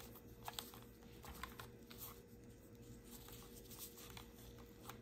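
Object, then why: Plastic and rubber suction cup mount of a phone holder. Gloved fingertips rub and scratch the small, solid black plastic and rubber suction-cup mount of a car phone holder while it is held in the hands. It makes quiet, dry scratching and soft rustling, broken by a few sharp, bright ticks, over a steady low hum and a faint high whine.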